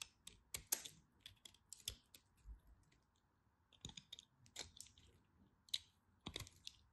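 A craft knife carves crunchy bits off a small remaining piece of dry cream bar soap held in the fingers. The result is a quiet, irregular run of sharp, bright crackling clicks with very short decay, separated by brief pauses.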